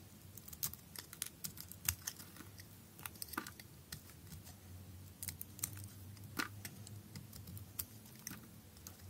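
A utility knife blade shaves thin flakes from a thin, hand-held piece of blue perforated bar soap. Quiet, crisp scraping crackles and sharp bright ticks come in irregular bursts over a steady low hum.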